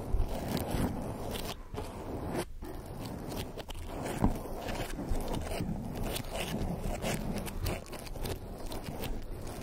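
Fingertips and long nails of both hands rub and scratch a soft, rounded black foam windscreen covering a microphone head. The result is a continuous, dense, muffled scratching and rustling, heavy in the low end, with occasional louder crunchy scrapes.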